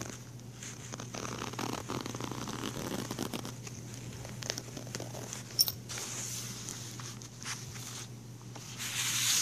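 Fingers pull the teal plastic zippers of a small patterned fabric pencil case open and closed along the case. Soft, bright rasping zipper runs and faint crinkles sit over a steady low hum, with a sharp click just past the middle. The hiss swells louder at the end.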